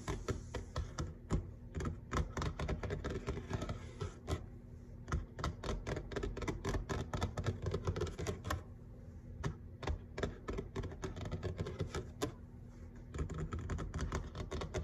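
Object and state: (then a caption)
Laminate kitchen countertop. Fingertips and short nails of both hands tap rapidly on a large, flat, solid grey laminate kitchen countertop. The taps are dense and dry, with dull low thuds and sharp bright clicks that die away almost instantly. They keep up a steady, uneven drumming pattern throughout.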